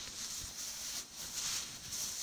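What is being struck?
Nothing is struck.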